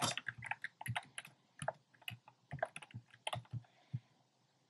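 Fingertips type on a compact plastic mechanical keyboard with a black plastic case and round pastel plastic keycaps. About sixteen quick, irregular keystrokes sound as soft clacks, each with a low thock and a bright click that dies away almost at once. The pauses between strokes are quiet.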